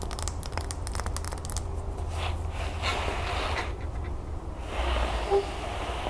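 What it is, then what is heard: Wax pillar candle, tapped and scratched. Fingernails tap and scratch the sides of a large, solid, probably wax pillar candle with a gold crackle-textured surface standing on a gold stand. A quick run of light, bright clicking taps gives way to soft, hissy scratching over a steady low hum.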